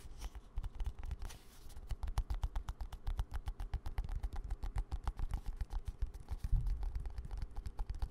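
Fingertips and nails tap and scratch a small green-and-white squeezable plastic cosmetic cream tube held in one hand, close to the mic. Dozens of quick, short, dull taps follow one another at an uneven pace with low thuds and faint scratchy rustle between them.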